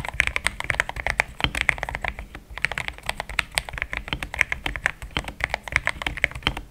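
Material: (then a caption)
Plastic. Fast typing with the fingertips of both hands on a compact pink-white mechanical keyboard with thick plastic XDA keycaps, a polycarbonate plate and linear switches, resting on a desk mat. A rapid, steady stream of short, dry key clacks centered around 2 kHz with bright tops and little low end, each stopping almost instantly.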